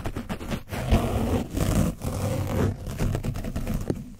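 A black foam paint brush on a wooden handle is scratched and brushed hard over an orange foam microphone windscreen coated with dried paint, fitted on a black mic body. The sound is a close, soft, hollow scratching and rubbing with a heavy low rumble and little high end, coming in repeated strokes with brief dips between them.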